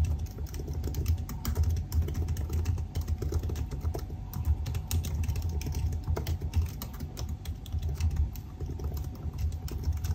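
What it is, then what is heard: Laptop keyboard with plastic keys. Fingertips of both hands type rapidly on the black plastic keys of a silver aluminium laptop keyboard. Dense, quick, dry clicks with very short decay run steadily throughout over a strong low hum.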